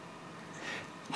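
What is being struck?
Nothing is struck.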